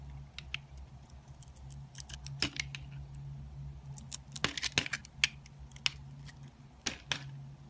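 A small pink soap bar with a shiny purple coating, held in the fingers, is carved by a metal blade that scrapes thin shavings off it. Bright, crisp scraping and cutting ticks come in quick bursts over a steady low hum, with short sharp peaks near 2.5, 4.5–5.3 and 7 seconds.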